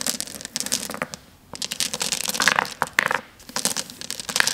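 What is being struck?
Small flat glass gems on a table.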